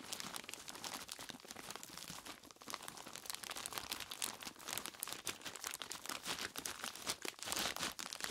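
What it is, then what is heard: Plastic bag of ice cubes. Fingertips of both hands squeeze and rub a large clear plastic bag full of ice cubes, crinkling the plastic and crunching the ice inside. The sound is a dense, continuous stream of bright, crackly crinkles and crunches with almost no low end, swelling slightly louder toward the end.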